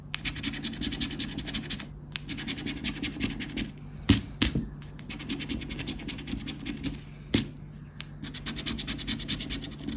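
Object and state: Paper scratch card being scratched.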